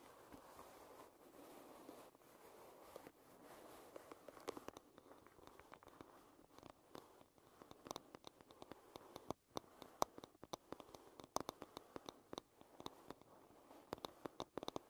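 Long red nails drag across the back of a solid wooden hairbrush, making a soft, steady scratching for the first few seconds. Then a long run of quick, sharp, dry taps with almost no ring follows on the wooden surface, mixed with light scrapes. The sound is quiet and close, centered in the midrange with little low end.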